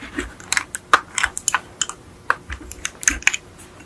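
A small yellow die-cast metal Beetle model car with a hollow body is held in the hands and tapped and scratched with long acrylic nails. About fourteen quick, bright, clicky taps ring with a light metallic tone and die away almost at once, with soft scratching between them.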